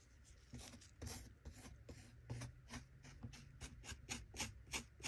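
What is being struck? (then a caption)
Kinetic sand in a plastic toy chest, plastic shovel. Bare fingers hold a small plastic shovel to scrape and dig packed kinetic sand filling a small plastic toy chest. A quick, uneven run of short, raspy scrapes sounds bright and gritty over a soft, low rumble. Each scrape cuts off almost at once.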